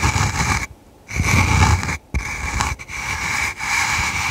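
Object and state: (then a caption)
Velvet-covered box. Long red nails scratch and tap the top of a small, hollow, dome-topped container covered in red flocked velvet and held in one hand. The result is a steady, rough scratching with a bright, hissy texture over a soft low thump. It comes in bursts broken by brief silent pauses.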